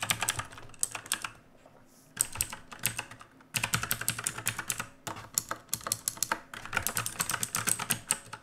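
Fast typing with the bare fingertips of both hands on a full-size black mechanical keyboard with plastic keycaps on a dark plate and RGB backlight, resting on a wooden desk. Bursts of sharp, bright, clacking keystrokes with very short decay come in quick runs, broken by brief pauses near 1.5–2 seconds, 3.5 seconds and 5 seconds.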